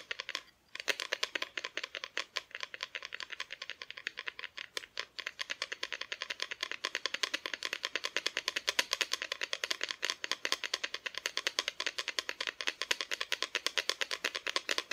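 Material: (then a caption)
Wood. Long nails tap rapidly on the front of a flat, solid, painted wooden Christmas cutout decoration. The result is a steady stream of sharp, dry clicks with no ring, bright and high with almost no low end, after a brief pause near the start.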